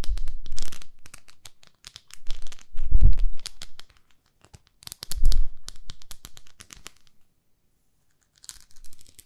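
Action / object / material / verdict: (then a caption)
scrape / plastic facial cleansing pad with a textured grid face / plastic / none. Long nails scratch across a small, flat pink plastic facial cleansing brush with a textured grid face. The result is dry, crackly scratching and tearing-like rasps in several bursts separated by short pauses, with some heavier passes adding low thumps.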